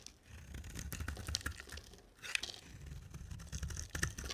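A solid rectangular cream-white soap bar with a black glitter coating is held in the hand and shaved with a box-cutter blade, scraping and carving the bar. Dry, crackly scraping strokes with a bright, gritty texture sit over a low rumble, briefly pause just after two seconds, then resume with a few sharper ticks.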